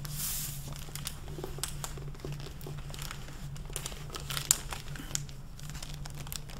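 A hardcover library book with a crinkly clear mylar plastic protective jacket over a dark dust cover and purple endpapers is held upright, opened and handled with long painted fingernails and fingertips. They crinkle and rub the plastic cover, making a steady stream of bright crackling with a few sharper tick-like scrapes, possibly mixed with some paper handling. A constant low hum runs underneath.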